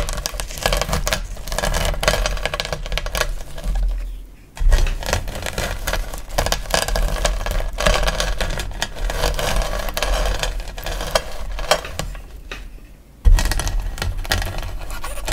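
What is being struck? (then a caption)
Chunks of gym chalk under a wooden rolling pin. A wooden rolling pin, pushed with both palms, rolls over a pile of hard, solid, blue-and-white dyed gym chalk chunks, crushing them into smaller pieces and powder. The crunching and crackling is steady and dense, with a low rolling rumble underneath. It fades briefly twice, then restarts with a sharp, loud crunch.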